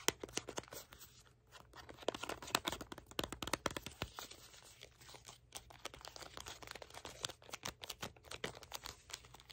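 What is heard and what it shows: A red, hollow cardboard product box is held in both hands while fingernails scratch and tap its printed surface and edges. Quick, dry clicks and rough scraping rustles repeat throughout, bright and crisp with little low end.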